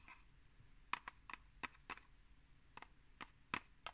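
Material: Cardboard.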